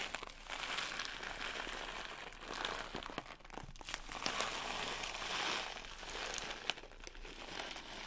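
A small printed plastic pouch filled with blue sugar sprinkles is held by the top and shaken and squeezed with the fingers. It makes a steady, bright crinkling rustle with fine granular rattling, swelling and dipping in waves with a few sharper crackles.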